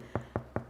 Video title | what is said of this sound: Wholegrain Gluten Free Sourdough Bread Recipe for Beginners - Detailed Tutorial of an Easy Process | bake it till it's making that hollow sound when you tap it